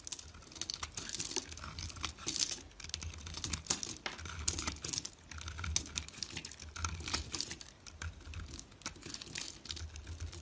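A small solid white bar of dry soap is held in the fingers while a box-cutter blade shaves and scrapes it, and flakes and crumbs fall off. Dense, bright, crisp scraping and crackling ticks repeat rapidly throughout, with a soft low rumble underneath.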